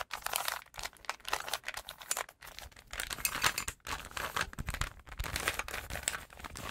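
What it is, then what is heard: Plastic puzzle cube being twisted. A small solid plastic 3x3 Rubik's cube with colored stickers is held in both hands while fingertips twist its layers rapidly. Dense bursts of short, dry clicks and rattling come in quick runs with brief pauses, bright and crisp with little low end and almost no ring.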